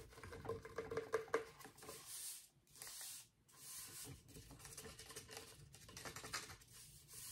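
Fingertips rub and scratch along the fingers and finger joints of a hollow, roughly life-size plastic Halloween skeleton hand and forearm held in a lap. The sound is a quiet, dry patter of scratchy taps and brushing with a bright, hissy edge. A few slightly louder clicks come early on, and brief near-silent pauses fall around the middle.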